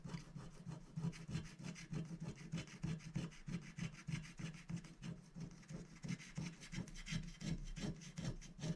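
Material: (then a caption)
Coated paper. A thin, flat scratch-art sticker sheet, black coated paper over a rainbow foil layer, lying on a glass plate, is scratched continuously with the tip of a wooden stylus held in the fingers. Quick, dry scratching strokes repeat at roughly three per second in an uneven rhythm over a steady low hum, with bright, rasping edges on each stroke.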